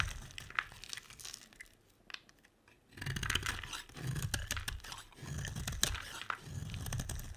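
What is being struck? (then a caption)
Bar of soap cut with a knife blade. A utility knife blade carves and scrapes shavings off the edge of a solid green oval bar of dry soap held in the hand. Dry, crunchy scraping and crisp tearing sounds fill the clip, with bright crackles over a low, dull body. A quiet pause near the second mark is followed by denser, louder runs of shaving.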